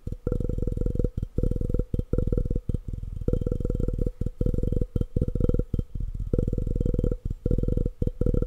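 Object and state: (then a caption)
Glass object. A glass object is tapped fast and aggressively in rapid bursts, separated by brief pauses. Each tap gives a dull, low, thumping knock that dies away almost at once, with little bright ring.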